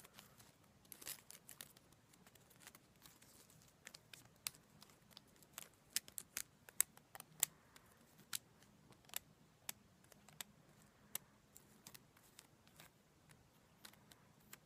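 A bundle of dried white sage leaves tied with string is held close and scratched and crunched with long black nails. Quiet, dry crackling and crisp, bright snaps break out in many sharp clicks over a faint low hum, with a denser rustle near the start.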